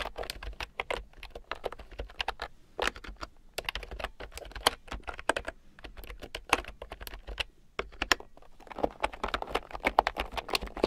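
A red plastic keyboard with round, typewriter-style plastic keycaps, lying on a fur rug, is typed on with fingertips and long nails. Quick, sharp clicks and taps follow one another in an uneven, steady stream, bright and dry with almost no ring. The typing grows busier and denser toward the end.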